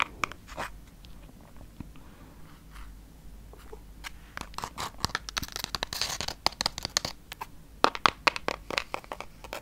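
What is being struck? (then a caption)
Glitter-coated cardboard palette case. Long painted red nails scratch and tap across the textured glitter surface of a pink glittery Anastasia Beverly Hills Amrezy eyeshadow palette, a flat, hand-sized hard cardboard case held in one hand. Dry, crisp scratches and irregular short taps are heard, with bright, crunchy bursts that grow denser and louder toward the end.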